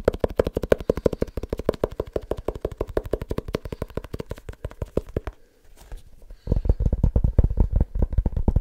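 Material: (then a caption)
Leather. A small leather-bound book is tapped rapidly with the fingertips, producing a fast run of short, dull, low-pitched taps. The tapping pauses briefly for about a second, then resumes louder and heavier.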